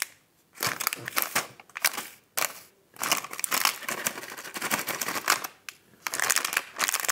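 Fingertips press, squeeze and handle a sealed, hand-sized plastic-film snack pack of Champion chocolate Wafer Rolls, full of wafer rolls and lying on a white table. Bursts of dry, bright crinkling and crackling come in uneven waves, separated by brief silent gaps.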